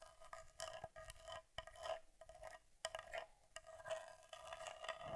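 Long nails tap and scratch over the leatherette panels and metal edges of a small Argus C3 camera back, a hollow metal body covered in leatherette. Quiet, uneven bursts of crisp clicks and dry, bright scratching follow each other closely. A faint hollow ring near 650 Hz sits under the taps.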